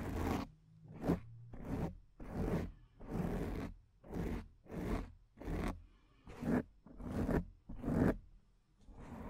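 Long painted nails scratch the top and front of a black foam microphone windscreen, producing a series of close, rough scraping bursts with a low, rumbling body and a bright, hissy edge. The strokes come in uneven pulses with short quiet gaps between them.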